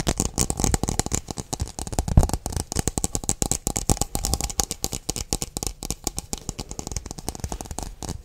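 A hollow, empty, hand-sized translucent blue plastic stemmed wine glass is held in both hands close to the microphone and quickly tapped and scratched with the fingertips and nails. Rapid, dense clicking taps and scraping come through with a dull low thump under crisp, bright ticks. Each hit dies almost instantly, with no glassy ring, and the pattering continues steadily for about eight seconds.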